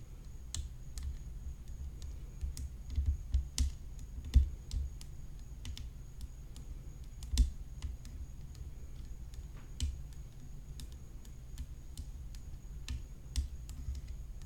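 Long nails tap along the rim of a hollow graphite tennis racket frame set with rhinestones, making quick, sharp, bright clicks that die away almost instantly. The taps come in an irregular, steady stream, with a few louder knocks standing out. Underneath runs a constant low rumble and a faint high steady whine.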